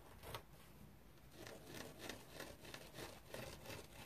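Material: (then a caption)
Foam. Fingernails scratch a dry teal foam bath sponge with a rope loop. The result is a quiet series of soft, raspy scratching strokes with a bright, airy texture, repeating at an uneven pace.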